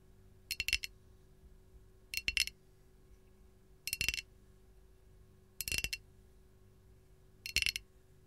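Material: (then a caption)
Ceramic. A hollow, glazed white ceramic canister with a lemon print is tapped with the long gold nails of both hands. The taps come in five short bursts of quick, bright clinks that die away almost instantly, with quiet pauses between them.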